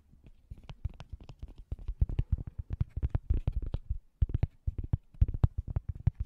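A thin, solid round cork coaster held close to the microphone is scratched and tapped with fingernails. It makes a quick, uneven run of soft, dull taps and short scratchy strokes, with a deep thump under most of them and brief gaps between bursts.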